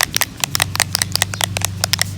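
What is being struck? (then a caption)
Plastic bottle of liquid mineral sunscreen. A bottle of tinted mineral SPF 50 sunscreen primer is shaken before use, giving a quick series of sharp, bright rattling clicks. The loose contents knock around inside, about 13 distinct hits over two seconds, over a faint low hum.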